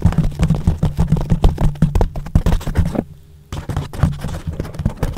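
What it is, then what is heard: Foam microphone windscreen. Fingertips and short nails tap and scratch across a yellow porous foam windscreen wrapped around a microphone. The result is a rapid, irregular run of dull, boomy thumps and rough scrapes, almost all low in pitch, with a brief near-silent pause before the tapping resumes.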